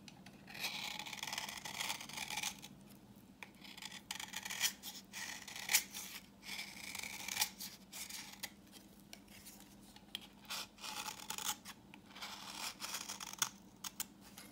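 A utility knife blade scrapes the face of a solid, translucent orange bar of dry vintage soap held in the palm, shaving off dry yellow crumbs. The sound is a run of bright, crisp scratching strokes, each short and dry with almost no ring, over a faint steady low hum.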